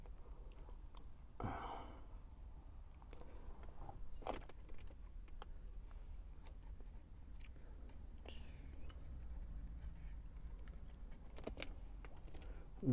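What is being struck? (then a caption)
Plastic car stereo faceplate buttons. Fingertips and short nails tap and press the small FM, AM, CD and SAT push buttons on the hard black plastic faceplate of a hollow radio/CD unit built into a car dashboard. Quiet, sharp plastic clicks and taps sound over a steady low rumble.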